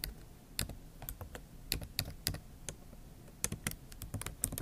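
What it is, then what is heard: Laptop keyboard typed on with fingernails. Both hands type on a MacBook Pro keyboard with plastic keys set in an aluminium body, using long acrylic nail tips. About 17 sharp, bright clicks and taps come in an irregular rhythm, each dying away almost instantly over a faint low background rumble.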